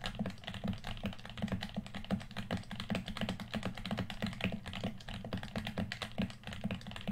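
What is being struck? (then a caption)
Plastic game controller. A red, hand-sized, hollow plastic PS4 controller is held in both hands while fingertips tap rapidly along its top edge and body. The result is a steady stream of quick, dry clicks over a low, hollow thump with very little ring.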